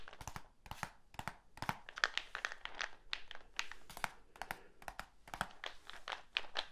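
A medium, hollow black plastic supplement tub with a lid and label is held in one hand and tapped on the side with the fingertips. A rapid, uneven series of short, dry, hollow plastic taps and clicks follows, bright and crisp, with each tap stopping instantly without ringing.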